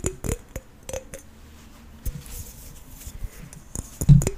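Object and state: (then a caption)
Green apple. A green apple held in the hands is tapped and scratched on its skin with fingernails. Short, dry taps with bright clicky edges are spaced irregularly between quieter stretches of soft scratching.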